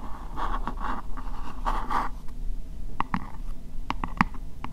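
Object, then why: Upturned plastic bowl. Fingernails scratch and tap the sides of an empty, hollow, translucent pink plastic bowl held upside down. The first two seconds are rough scratching bursts with a midrange hollow tone, then sharp, quick plastic taps ring briefly over a low background rumble.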